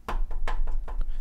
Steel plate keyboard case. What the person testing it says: if you knock on it there's basically no noise the board is simply too massive and too heavy